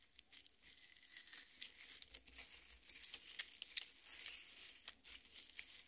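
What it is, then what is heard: Watermelon flesh being scratched. Long red nails scratch the wet red flesh of a half watermelon resting on a plate. The result is a quiet, bright, crackly scratching and tearing, with short irregular bursts of wet crinkling and almost no low end.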